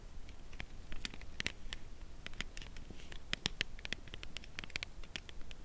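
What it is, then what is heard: Cardboard chocolate box, tapped. A dark brown Lindt Creation Caramel cardboard box holding a chocolate bar is held horizontally and tapped along its side with long acrylic nails. The result is a steady run of quick, light, clicky taps with short bright transients that die away almost instantly, over a low background hum.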